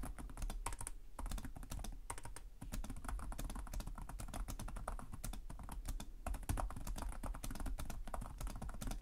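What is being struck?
Laptop keyboard with plastic keys.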